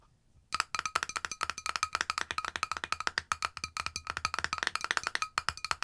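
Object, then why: Small cosmetic jar with metal screw lid. Long nails tap rapidly and repeatedly on the silver metal screw lid and side of a small cosmetic jar, likely holding cream, held close to the mic. After a brief quiet start, 38 short, dry, bright clicks follow in a quick, uneven rhythm, each with a faint ring around 1.3 kHz that dies away almost instantly.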